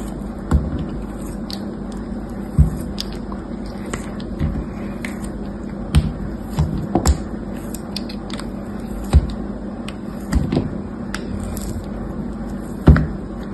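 A hand-held, fist-sized block of dried soap, grey with a blue outer layer, has slices shaved and scraped off it by a metal utility blade held in the other hand, with the same block carved throughout. Soft, dull scrapes and crisp cutting snaps come at irregular intervals over a steady low hum. Each cut is brief and dies away quickly.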